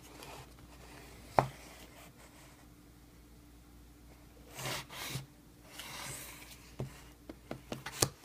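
Fingertips tap on the paper shipping label on top of a closed, hollow corrugated cardboard shipping box resting flat. A single sharp, dry tap sounds early, then softer papery rubbing swishes, followed by a quick run of short, papery taps near the end. There is a faint steady hum underneath.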